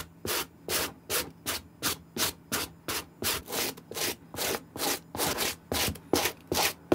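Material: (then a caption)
Suede. A white plastic-bristle suede brush is scrubbed back and forth over the suede upper and heel of an empty, hollow green suede Nike SB sneaker with a gum rubber sole, held in hand. About 18 separate brisk, bright, airy scratching strokes come in a steady, slightly uneven rhythm, each a short hissy rasp with quiet gaps between.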